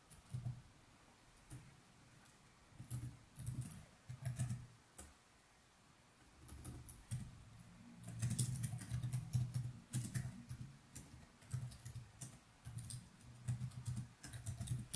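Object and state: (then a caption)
Plastic laptop keyboard being typed on. Fingertips of both hands type continuously on the plastic keys of a laptop keyboard resting on a desk, while the mouse stays untouched. Bursts of soft, quick key clicks with a bright edge come in uneven clusters over a low, steady hum, with brief quiet gaps between runs.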